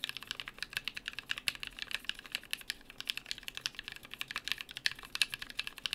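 Two hands type steadily with their fingertips on a compact BM43A mechanical keyboard with lubed NK Creams linear switches, PBT plastic keycaps and an aluminium plate. Each keystroke is a short, bright clack that dies away almost instantly, with very little low end. The rapid keystrokes form a continuous, quick, crisp patter throughout.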